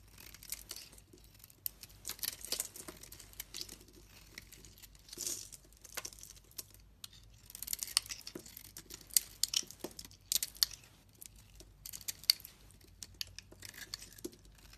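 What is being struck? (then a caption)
Bar of soap scraped with a metal blade. A metal blade shaves and scrapes a solid pink oval bar of soap held in the hand, breaking flakes off it. The result is bright, dry scraping and crinkling bursts with sharp little clicks and crackles, separated by short quiet pauses.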